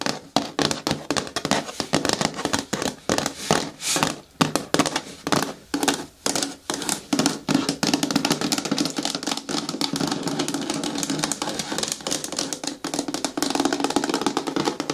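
Long nails tap rapidly on the sides and front of a hollow, medium-hard green plastic bin with a lid. The taps are short, dry and clicky, with a hollow low-mid body and a bright edge, each dying away almost instantly. They begin in quick bursts and then run together into a dense, steady patter for the second half.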